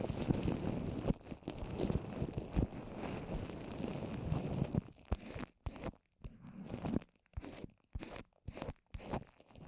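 Long orange nails tap and scratch a fist-sized dome of wet paper mache built over a plastic-wrapped microphone. For about five seconds there is dense, crunchy, crinkling scratching, heavy in the low end. It then breaks into short, sticky, damp taps and scrapes separated by near-silent gaps.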